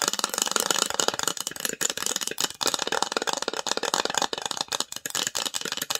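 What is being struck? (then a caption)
Small varnished wooden box. Long nails rapidly tap and scratch the lid and sides of a small, hollow, varnished wooden box with an engraved logo on the lid, held in the hands. The result is a dense stream of dry, bright clicks and scrapes with almost no low end and very little ring.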